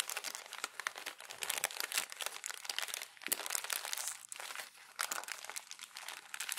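Thin glossy magazine pages are gathered and pressed into a crumpled bundle with palms and fingertips, crumpling and rubbing together. The result is a dense, continuous crinkling and crunching, bright and papery with almost no low end, in uneven bursts that briefly drop off near the middle.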